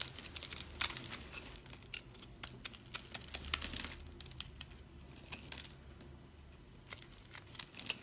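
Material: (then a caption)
Soap. A thin metal blade scrapes and cuts into the grid-scored face of a hand-held rectangular bar of dry, solid soap, crunching off small cubes over a scatter of soap crumbs, held by fingers with long purple nails. Dense, bright, dry crackling and crunching snaps come in quick irregular bursts, with a faint low hum underneath.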